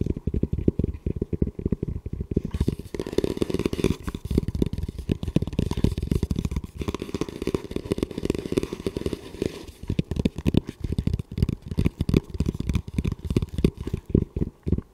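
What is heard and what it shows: Fingertips and nails rapidly tap and scratch the shell of a hollow camo composite tactical helmet. The result is a dense, continuous stream of short, dry, low-pitched thuds with almost no ring, mixed with a rough scratching hiss that is strongest through the middle of the clip.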